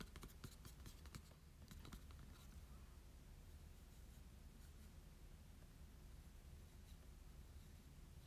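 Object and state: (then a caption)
Cardstock trading card. A small printed Marshadow promo card of glossy cardstock is held in the hands and tapped and scratched with short nails and fingertips. Quick, bright clicks cluster in the first couple of seconds, then give way to soft, steady scratching over a quiet, low hum.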